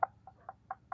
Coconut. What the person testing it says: kelapa kopyor lebih direndam lembut jadi ini sudah dipastikan kelapa kopyor